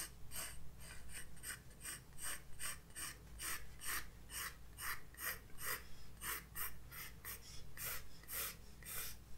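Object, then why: Graphite pencil on a paper sketchbook page. A graphite pencil tip draws light strokes across a white paper page of a spiral-bound sketchbook resting on a desk. Short, dry, scratchy strokes come in a loose, uneven rhythm, each bright and hissy with a rasp centered near 1.9 kHz. A steady low hum sits underneath throughout.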